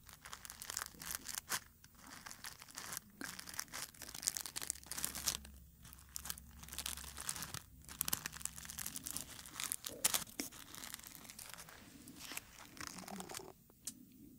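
A single dried dark red rose on its stem has its petals rubbed and squeezed with fingertips close to the mic. The result is a steady run of dry, bright crinkling and crackling, with many quick brittle snaps and short pauses between bursts.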